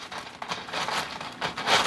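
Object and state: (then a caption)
Crispy baked chicken crackers. Freshly air-fried soup crackers/croutons made from chicken "noodles" are handled just after coming out of the air fryer, giving off a series of crisp, crackly, crunchy rustles with bright high-frequency crackle. The sound shows they have baked dry and crisp.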